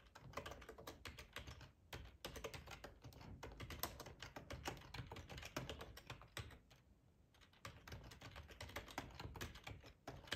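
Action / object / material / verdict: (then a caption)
tap / plastic computer keyboard / plastic / none. Fingertips of both hands type on a black plastic, full-size ergonomic split keyboard resting on a cloth tablecloth. Quick, dense clicks and soft low thuds of the keys are heard, with short pauses near 2 and 3.5 seconds and a longer lull around 6.5 to 7.5 seconds before the typing resumes.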